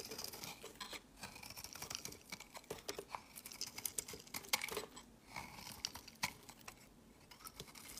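A utility knife blade shaves thin curls off the edge of a solid, rectangular, palm-sized lavender bar soap held in the hand. The result is quiet, crisp, bright scraping and ticking strokes in quick, uneven succession, with very little low end.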